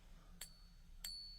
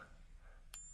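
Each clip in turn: First: genuine silver bullion coin. Second: copper-nickel coin, not silver.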